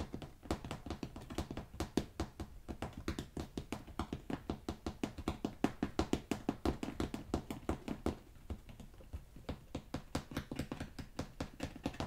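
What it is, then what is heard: Carpet remnants. Carpet remnants are tapped in a rapid, steady stream for about twelve seconds. Each tap is a soft, dull, muffled thud with a low-mid body and almost no ring, and the taps run close together at an even level with a brief thinning around the eight-second mark.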